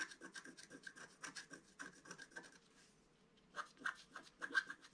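A wooden stylus scratches a flower shape into the centre of a flat black-coated scratch-art card, making a quiet run of short, dry raspy strokes with a faint squeak around 1.6 kHz and bright, high hiss. The strokes pause briefly near the middle of the clip, then resume in a few louder scrapes.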